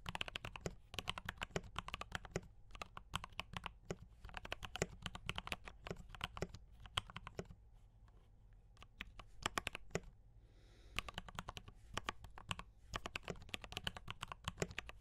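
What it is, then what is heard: Mechanical keyboard with plastic keycaps. Fingertips of both hands type fast on a compact D84 mechanical keyboard with brown switches and cream and red plastic keycaps. Dense, short clacks with a bright tick near 3 kHz and a low thock beneath come in quick bursts, pausing briefly around the 8-second and 10-second marks before resuming.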